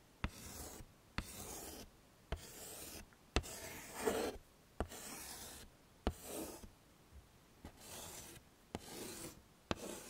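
White chalk held in a hand scrawls and draws across a small handheld chalkboard with a pine frame lying flat, and fingertips also rub over the chalk letters. Nine sharp taps of the chalk meeting the board each lead into a dry, bright, rasping scratch, with brief quiet gaps between the strokes.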